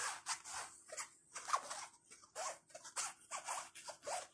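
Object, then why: Nylon or canvas crossbody bag. Fingertips rub and scratch across the front panel of a small, flat black nylon/canvas crossbody bag with tan trim and zippers lying on a bed. Around ten quiet, dry, scratchy bursts follow one another, bright and hissy with no low end, each dying away almost instantly.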